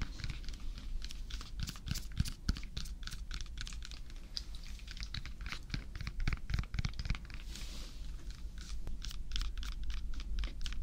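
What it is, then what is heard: Banana peel. Fingernails tap and scratch along the peel of a whole unpeeled yellow banana with brown spots, held in one hand. The result is a rapid, irregular run of short, dry, clicky taps with bright scratchy edges over a steady low hum.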